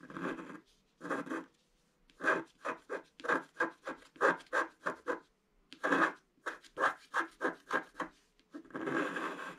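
A pointed wooden stick scratches a flat scratch-art page, a black coating over colored paper. A series of short, dry scraping strokes, each brief with gaps between, sits mostly in the midrange, with longer, steadier scrapes at the start and end.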